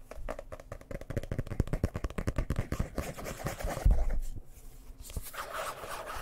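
Fingernails rapidly tap and scratch the cover of a dark blue hardcover book as it is held up and turned in the hands. A quick run of dull, low taps in the first half gives way to softer, steady scratching toward the end.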